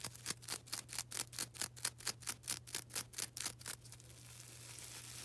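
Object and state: Foam sponge scratched with nails.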